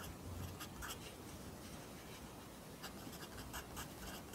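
A pencil writes Korean handwriting on an open lined paper notebook, with the graphite scratching the paper. The quiet, steady scratching carries a low rumble underneath, and short bright bursts mark individual strokes.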